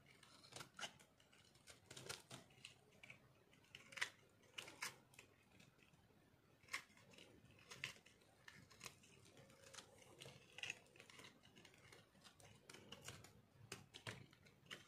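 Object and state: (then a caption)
Dry bar soap, crunchy when cut. A solid piece of dry pink bar soap, held in the hand, is sliced and scraped with a metal blade. Quiet, crisp, crunchy cuts and scrapes come in quick, irregular bursts with a bright, dry texture and almost no ring after each stroke.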